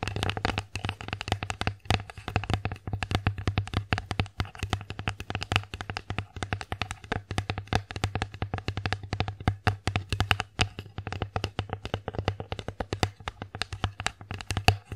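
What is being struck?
Wooden plate.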